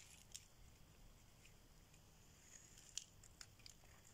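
A solid orange bar of dry soap is held in hand and scraped and shaved with a metal blade. A quiet, steady bright hiss of scraping is punctuated by a few sharp, short crackling snaps that stop instantly, over a faint low rumble.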